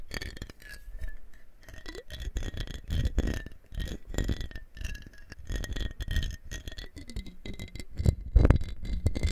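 A medium clear glass mason-style jar with a screw-on rose-pink metal lid, hollow and partly filled with water, is held in both hands and turned, tilted and shaken so the water sloshes inside. Fingertips and short nails grip and tap the glass and lid. The result is a dense stream of low, muffled sloshing and soft, quickly damped clinks, with a faint glassy ring around 2 kHz.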